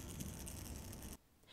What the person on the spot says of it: makes a soft rattle sound when baby shake it